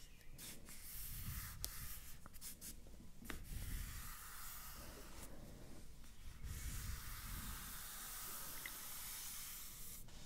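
Long manicured nails and fingertips scratch, trace and tap across the lid of a closed, rectangular, hollow cardboard iPad retail box lying flat, with a printed image on the front. Soft, steady scratching and rubbing rasps continue throughout, with a low hollow body under them, broken by several sharp, brief taps.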